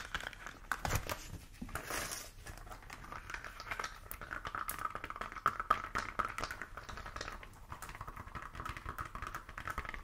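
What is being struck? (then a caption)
Thin silicone mat. A thin, solid, hand-sized pink silicone heat-resistant mat with a flat, wavy ridged texture is held up in both hands and tapped and scratched with long acrylic nails. The result is a quiet, dense stream of quick, dry ticks and crinkly scratching that stays centered in the midrange for the full clip.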